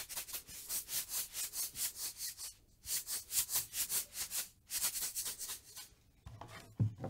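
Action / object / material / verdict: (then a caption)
scrape / small plastic tube container with cap / plastic / none. A small, hollow, cylindrical plastic tube with a blue label and a white cap is held in the hand and scratched and tapped with long nails. Quick, bright scratching strokes come in three fast rhythmic runs separated by brief pauses. The clip ends with a few duller, lower taps.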